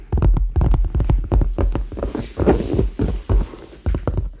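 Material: Faux leather.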